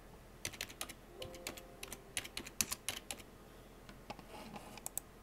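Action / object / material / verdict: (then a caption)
tap / plastic computer keyboard / plastic / none. Fingertips with blue-painted nails tap fast across the hollow keycaps of a full-size black plastic computer keyboard. The result is a quick, uneven run of sharp, bright clicks that die away almost at once, with a brief faint low tone partway through.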